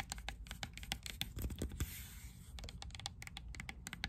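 Long nails tap quickly on the casing of a hand-sized, dark grey rectangular plastic portable Bluetooth speaker, making sharp, dry clicks with almost no ring. Midway, a brief scratchy swipe interrupts the taps, then the rapid clicking resumes over a faint low hum.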